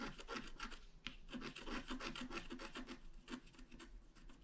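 A wooden stylus scratches continuously across a flat, black-coated scratch art card about A4 in size. The result is a dry, rasping rub made of quick, uneven strokes, with a low body and bright, hissy highs.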